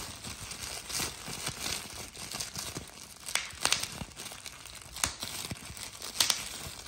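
A hand holds a clear plastic bubble wrap sheet with air-filled bubbles while a thumb presses and pops the bubbles and crumples the sheet. A steady, bright crinkling runs throughout, broken by several sharp, snappy pops that stand out louder in the second half.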